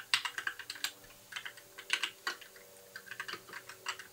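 Fingertips of both hands tap continuously on a compact white mechanical keyboard with plastic keycaps, a blue backlight and a hollow case. The bright, clacky keystrokes come in quick, uneven bursts with short pauses between, each click dying away almost at once.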